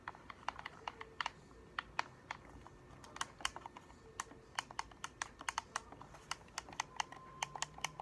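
A hollow black plastic game controller is held in both hands while its buttons are pressed and clicked with the thumbs and fingernails tap the shell. The result is a quick, irregular run of sharp, dry, bright plastic clicks and taps that stop almost instantly, over a faint low hum.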